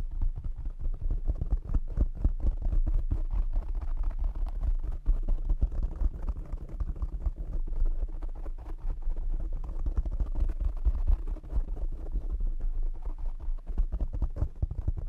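Fingertips and short nails tap rapidly on the black foam windscreen of a condenser microphone. The result is a dense, continuous run of dull, muffled thumps, heavy and boomy in the low end with almost no bright content. Each tap dies out almost instantly.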